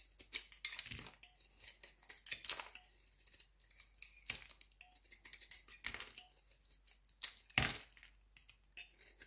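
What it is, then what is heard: Soap bar being shaved with a knife. A solid square green soap bar with a brown rind is held in the hand while a utility knife blade shaves and scrapes flakes off it. Quick, crisp scraping strokes follow one after another, producing a quiet, dry, bright rasp with occasional sharper cuts and almost no low end.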